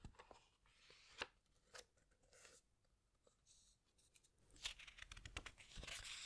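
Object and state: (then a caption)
Glossy book pages being squeezed and turned. Fingertips and long nails squeeze and rub the glossy paper pages of a large hardcover animal book, then a page is turned. Bright, dry crinkles and soft rustles are broken by short, crisp clicks and taps. The sound grows into a louder, sustained swishing rustle toward the end as the page turns.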